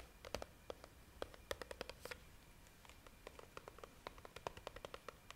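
A hand-sized, hollow, clear plastic jar with a red plastic screw lid, filled with pink pieces, is held in both hands and tapped and scratched with long painted nails. Many quick, dry clicks and taps with a hollow mid-range ring come in uneven bursts, with brief bright scratching between them. The taps are short and close-miked, and a faint steady background hum runs under them.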